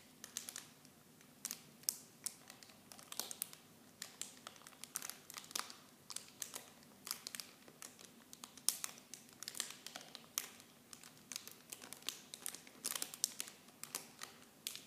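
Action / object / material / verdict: shake / thin plastic film packaging / plastic film / none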